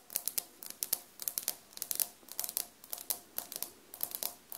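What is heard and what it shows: Long dark-painted nails tap and scratch large beige glazed ceramic floor tiles with grout lines on a solid floor, with a small recorder sitting untouched in front. Quick, irregular clicky taps and brief scrapes come in clusters, bright and dry with almost no low end and very little ring. No speech is heard.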